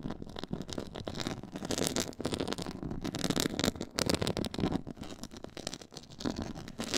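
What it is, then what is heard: Textured faux leather board being scratched. Long nails scratch across a black, stitched, pyramid-textured faux leather board. The result is a continuous, rough, rasping scrape with bright, gritty texture and rapidly fluctuating loudness, with brief dips and swells over about seven seconds.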